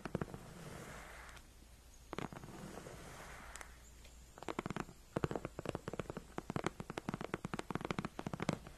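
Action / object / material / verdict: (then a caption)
scrape / padded faux-leather chair backrest / faux leather / none. Long nails and fingertips scratch, tap and claw the front of a white padded faux-leather gaming chair backrest near the seam. Soft, low scratching rubs with a few sharp clicks fill the first half. A quick, irregular run of dry, short nail taps follows, with a faint high tone in the background.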